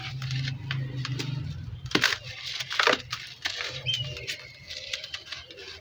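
Bare hands coated in cement squeeze and rub solid, crumbly lumps of dry grey cement powder in a blue plastic basin, crushing them with fingers and palms so powder falls back into the basin. The result is a stream of dry, gritty crunching and crackling with bright, sharp edges over a low hum, with two louder crunch bursts partway through.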